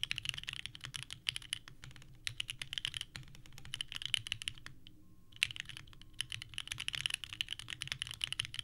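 Both hands type continuously with the fingertips on a small 65% mechanical keyboard with a purple case and white ABS keycaps, resting on a desk mat. Rapid, bright, clacky key presses are heard, centred around 3 kHz with a faint low thump beneath. The typing briefly pauses near the middle before resuming at the same pace.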